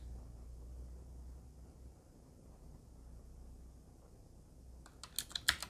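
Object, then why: Mechanical keyboard with metal frame and plastic keycaps. A Qwerkywriter typewriter-style mechanical keyboard, with a black metal body and round plastic keycaps, is typed on slowly with the fingertips. A low, steady hum fills most of the clip, then five sparse, sharp, bright key taps come in quick succession near the end.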